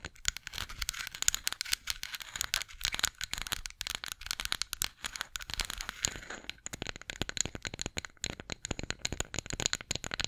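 A flat, solid light-wood spatula, held horizontally, is tapped and scratched with long acrylic nails. Dense, rapid clicks and scratchy crackles run through the clip, mostly bright and high with little low end. Each tap stops almost instantly, with no ring.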